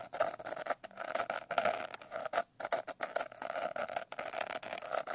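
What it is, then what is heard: Glitter-covered paper notebook. A medium-sized, solid paper notebook with a coarse blue glitter cover is held upright and scratched and tapped with long painted nails. A quick, uneven run of short, dry taps and gritty scrapes sounds close, with a faint steady mid-pitched tone underneath and bright grainy edges. There is almost no low end and no ring after each hit.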